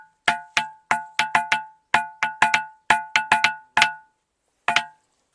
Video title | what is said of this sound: ఈ గుహలో నుంచి అమ్మాయి అరుపులు వినిపిస్తున్నాయి ఆమె రక్తపు వేలిముద్రలు అలానే ఉన్నాయి -- musical rocks | ఇది మొత్తం గొడుగులాగా ఉండడం వల్ల ఇదైతే ఇంకా రీసౌండ్ ఎక్సలెంట్గా వస్తుంది